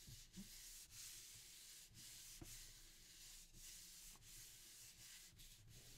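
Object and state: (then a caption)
Paper sheet rubbed on linoleum block. Thin printing paper laid flat over an inked linoleum block on a table is rubbed firmly with both flat palms to burnish the print. A steady, bright, hissing rub runs throughout, with brief gaps between strokes and faint low thumps.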